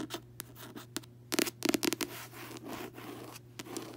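Fingertips and long nails tap and scratch the front of a closed paperback novel with a solid, glossy card cover resting on a bed. A quick, irregular run of light, dry clicks and brief scratchy rasps rises in a dense cluster in the middle, then fades into faint rubbing.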